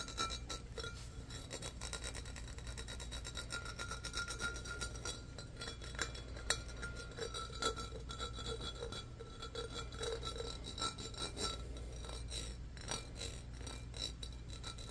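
Fingernails scratch and rub the patterned sides of a medium-sized, empty, hollow clear glass pitcher with embossed ridges. The result is a steady, fast, rasping scratch with bright glassy clicks and faint clinks over a low background hum.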